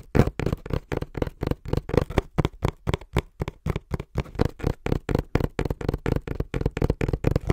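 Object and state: Hollow cardboard box.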